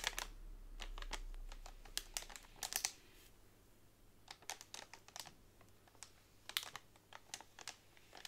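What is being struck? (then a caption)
Bundle of bamboo straws in plastic wrap. Long nails tap and scratch along a flat pack of hollow bamboo straws wrapped in clear, crinkly plastic on a table. Quick, dry, bright clicks and taps come in irregular bursts over a soft crinkling rustle, each tap dying away almost instantly.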